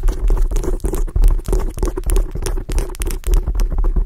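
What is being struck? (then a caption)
Foam microphone windscreen. Long acrylic nails scratch quickly at the top of a black foam microphone windscreen. The result is a dense, continuous muffled rumbling scrape, heavy in the low end with a steady hum-like tone around 110 Hz, rising and falling in loudness without clear separate strokes.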